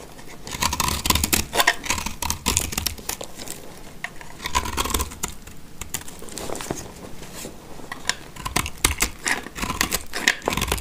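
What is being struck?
Soap bar scraped with a blade.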